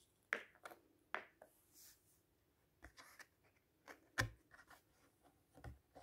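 Fingertips and a flat hand rub along the paper page of a large open hardcover fairy-tale book with a red ribbon bookmark, lying on a table, then lift and turn the page. Quiet, dry papery brushing and rustling is broken by several sharper, crisp snaps with bright hiss. Each sound stops almost at once, with no ring.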